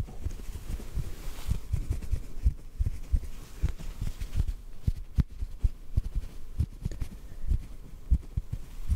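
A small white cotton ball is pinched between the fingers and tapped softly with a fingertip. The taps are dull, muffled thumps sitting almost entirely in the low range, each dying away almost at once, with a faint steady hiss beneath them.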